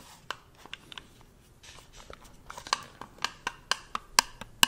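Fingers tap on a small, round, white plastic cosmetic-style jar or lid, closed and hollow, held in one hand close to the microphone. The result is a loose, irregular series of short, dry, clicky taps with a bright, hollow tone and no ring, growing louder toward the end over a faint background hiss.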